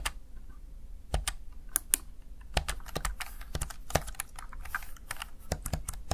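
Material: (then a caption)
Plastic. Fingertips tap the keys of a Razer Tartarus Chroma plastic backlit gaming keypad in an irregular run of short, dry clicks. Each click is sharp and bright, with a low thud underneath, and dies away almost instantly.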